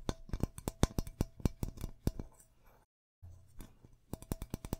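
Fingertips and nails tap and scratch along the body of a medium, hollow metal aerosol deodorant can with a plastic cap and printed label, held in both hands, possibly with some shaking. Quick, sharp taps with a faint metallic ring come in uneven bursts, separated by softer scratching and a brief silence near the middle.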